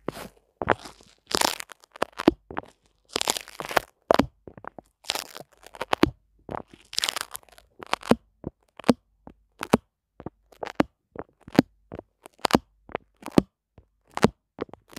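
A small white paper towel sheet is held taut between fingertips over a microphone and pinched, pulled and rubbed. It gives a steady run of sharp, dry crunches and crinkles, each cutting off at once, mixed with brief rustly bursts that reach bright highs.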